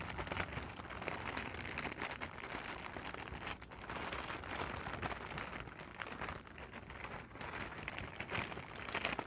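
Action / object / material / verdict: scrape / inflated plastic packing air pillow / plastic / none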